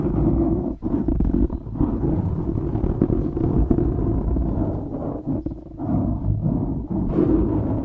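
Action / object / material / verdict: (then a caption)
scrape / foam microphone windscreen / foam / none. Fingernails scratch the top and sides of a black foam windscreen on a microphone. The result is a dense, close, rumbling scrape that is heavy in the lows and carries almost nothing bright. It runs nearly continuously with brief dips, one near the start and a longer lull around the middle.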